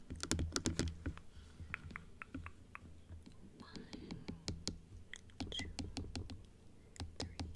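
Long acrylic nails tap quickly and irregularly on the plastic teeth and rim of a plastic dental teeth model, which is closed and then opened. Sharp, bright clicks with short decays come about four per second over a steady low hum.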